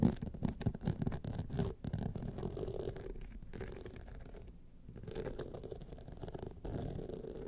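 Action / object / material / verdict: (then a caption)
scrape / rhinestone-studded clutch wallet / rhinestones / none. Long nails scratch the lower rhinestone band and the top edge of a gold rhinestone-studded clutch wallet standing upright. The result is a dense, irregular run of short, dry scraping strokes, mostly low and muffled with little brightness, and a brief lull in the middle before the scratching picks back up.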